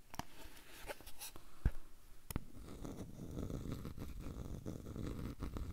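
A small square frame with light wooden edges and a dark centre is held in the hand close to the recorder while fingertips and nails scratch and tap along its wooden edge. Sharp, separate taps stand out over soft scratching in the first half, with one louder knock near the middle. The scratching then settles into a steady, dense, low-heavy rasp.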